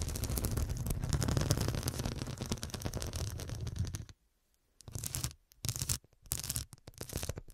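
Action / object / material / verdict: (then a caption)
scrape / cushion covered in small glass studs / glass / none. Long black acrylic nails scratch and tap rapidly across a medium cushion covered in a grid of small faceted glass studs over a soft filled body. The result is a dense, continuous stream of clicky, bright scratching with a strong low thump underneath for about four seconds. After a brief silence, it returns in several shorter bursts of tapping and scratching.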